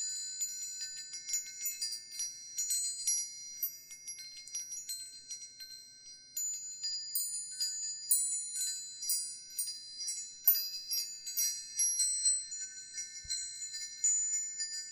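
A hanging wind chime with hollow aluminum tubes and a wooden sail disc is held up by its string and gently shaken by hand, so the tubes knock together and ring. Bright, high metallic tones overlap continuously with almost no low end, each strike fading quickly into the next.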